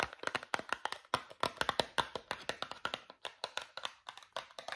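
A small Meridol cardboard toothpaste box is tapped quickly with fingernails and fingertips, giving about thirty dry, crisp clicks and soft thuds in an uneven rhythm. Each tap is short and papery, with a hollow midrange knock and a bright edge, and dies away almost at once with no low end.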